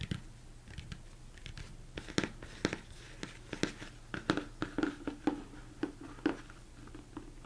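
Fingertips and nails tap irregularly on the sides and top of a large, hollow, empty plastic mixing bowl turned upside down. The taps are quick and dry, each with a short hollow knock around 290 Hz and a bright click that dies away almost at once. A faint low hum runs steadily underneath.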